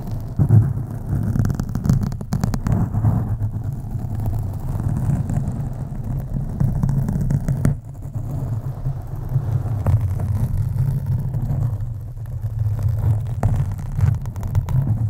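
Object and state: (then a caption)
Foam microphone windscreen being scratched. Long nails of both hands scratch slowly over a black foam microphone windscreen. The result is a steady, deep, muffled rumbling scrape concentrated in the low range, with a brief dip in loudness about halfway through before the scratching resumes.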